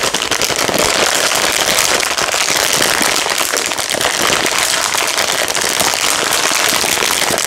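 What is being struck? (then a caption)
Plastic packet of dry spiral pasta. A medium red-and-clear plastic packet filled with dry spiral pasta is held in both hands while fingertips squeeze and tap it, crinkling the plastic and shifting the pasta inside. The result is a dense, steady stream of bright crackles and rustles with almost no low end, holding at an even level throughout.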